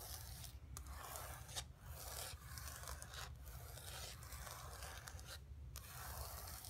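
Long fingernails on both hands scratch and tap the surface of a flat painted canvas board lying on carpet. A steady, dry scratching rasp fills the clip over a low rumble, with short breaks and brief bright taps between strokes, all at a quiet level.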